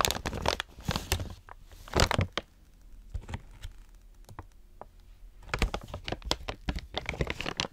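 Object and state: Plastic treat pouch being crinkled.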